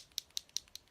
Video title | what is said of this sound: FB Live Get Ready with Me: Happy National Unicorn Day 2018 | Hear that, then you know that it is mixing up